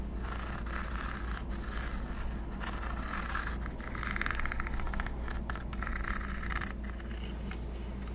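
Fingertips and nails scratch and tap along the top and hinge of a black plastic Swingline stapler, hollow with metal parts, held up in the air. Dry, raspy scratching comes in uneven bursts with light ticks, growing louder and brighter in the middle and again near the end, over a steady low hum.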